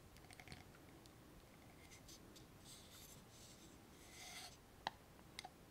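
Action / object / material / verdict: scrape / small glass jar with metal lid, filled with water beads / glass / none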